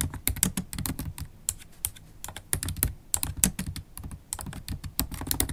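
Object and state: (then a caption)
Plastic laptop keyboard being typed on. Long black holographic acrylic nails and fingertips type fast and continuously on a MacBook Pro keyboard with black plastic keys set in an aluminium body. Rapid, uneven clicks and taps pile up with a soft, low thud under each keystroke and bright, sharp nail ticks on top.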